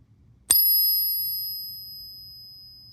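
A 1963 90% silver half dollar, taken from a tube of coins proven real, is pinged once on a ping tester to compare its ring with suspect coins. A single sharp strike gives way to a clear, high, sustained ring that fades slowly over about two and a half seconds. The coin is genuine silver.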